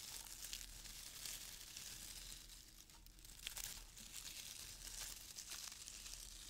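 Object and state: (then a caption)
Crinkle-cut paper shred filler. Fingers scratch and lift loose brown crinkle-cut paper shreds in a small open cardboard box. The result is a steady, bright, dry crinkling and rustling with scattered sharp crackles, briefly quieter midway before picking back up.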